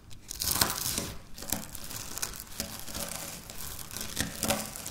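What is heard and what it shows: Dry wafer biscuit crumbs are scratched and crushed with long natural nails on a stone countertop. Bright, crackling crunches and scrapes come in a dense, uneven stream with little low end. No eating and no talking are heard.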